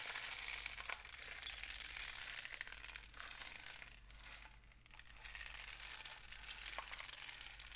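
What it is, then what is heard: Cardboard rain stick. A long, hollow rain stick, apparently a cardboard tube painted with suns and dots with one end wrapped in mesh, is held in both hands and tilted so its loose filling trickles through. A dense, bright, crackling patter runs continuously over a faint low hum. It eases slightly around the middle before building back up.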